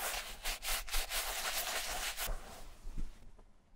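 A hand-held bristle brush with a wooden handle scrubs the shampoo-foamed upper of a vintage black leather Camper shoe, making quick, bright, wet rasping strokes through the lather. The brisk scrubbing runs steadily for about two seconds, then trails off into softer, fainter brushing.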